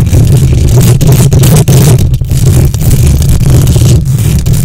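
Long nails quickly scratch the hollow metal mesh grille of a silver condenser microphone with both hands. The result is a loud, continuous, boomy rumble concentrated in the low end, with a grainy, scraping texture and only a few brief dips in level.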